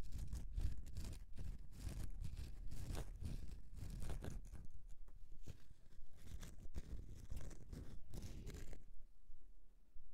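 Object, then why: Bar of soap. Long nails scratch across the scraped surface of a solid bar of soap, making dense, uneven scraping strokes with a soft, low rumble underneath. The scratching runs steadily for about nine seconds, then drops away to a quiet tail.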